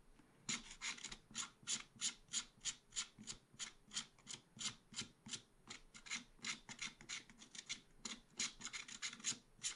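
A wooden stylus scrapes fine lines into a black-coated scratch art paper page in a small spiral pad. Quick, bright, rasping strokes repeat at an uneven rhythm of about three per second, each a short hiss with almost no low end, heard fairly quietly.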